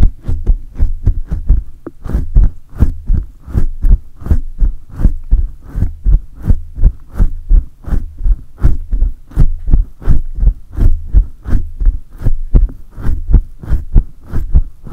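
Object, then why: Metal mesh microphone grille. Both hands with short painted nails grip a large silver USB condenser microphone and rub its hollow metal mesh grille and metal body fast with fingertips and palms. The result is a steady stream of deep, muffled thumps, about 83 a minute, with faint scratchy friction on each stroke, all heavy low rumble with almost no high end.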